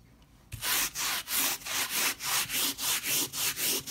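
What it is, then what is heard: Pile rug being scrubbed. A hand scrubs a flat leopard-print pile rug, dusted with white cleaning powder on a tiled floor, back and forth with a white plastic stiff-bristle brush. After a brief quiet start, about eleven bright, hissy scratching strokes follow in a steady rhythm, each separated by a short dip.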